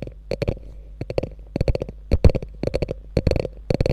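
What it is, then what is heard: Quilted faux leather handbag. Long nails scratch along the top of a small, hollow, beige quilted faux leather handbag with a gold metal logo. Short, dry scratching bursts come in quick clusters of several strokes, with a dull, low-heavy hollow thump under each pass and very little ring after each stroke.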